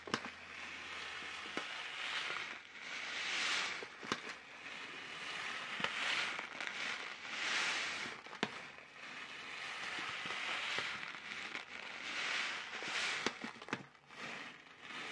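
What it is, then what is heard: Plastic snack packet. A sealed, apparently filled orange plastic-film snack packet is flexed, crinkled and shaken in both hands close to the mic. Bright, hissy crinkling swells and fades in waves, broken by sharp crackly snaps, with almost no low end.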